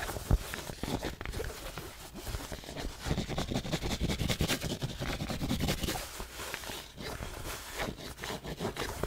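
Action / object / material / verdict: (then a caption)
scrape / cotton fabric baseball cap / cotton / none. A black cotton Nike baseball cap of hollow, soft fabric is held in the hand and scratched and rubbed with long manicured nails. Continuous dry scraping and rustling is heard, with bursts of quick scratches over low, muffled handling noise and bright fabric hiss.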